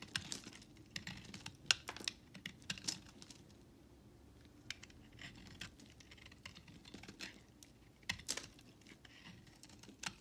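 A utility knife blade scrapes and carves small shavings off the corners of a solid white bar of soap held in hand. It makes a run of quick, dry, bright scratching clicks that vary in strength, with softer rustling scrapes between them and a faint low hum underneath.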